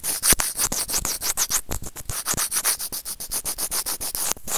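Serrated plastic tweezers rub rapidly back and forth across a small, hollow, white plastic earphone inline microphone remote. About thirty quick, scratchy strokes produce a bright, hissy, sanding-like rasp with dull low thumps in some strokes.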